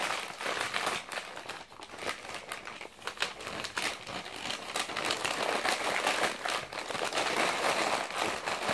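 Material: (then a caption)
Glossy paper. Fingertips crumple, squeeze and flip a thick bundle of already wrinkled, blue-and-white glossy printed magazine pages held on a lap. The result is a steady, dense crinkling and crackling with bright, papery bursts and almost no low end, swelling and easing in loudness throughout.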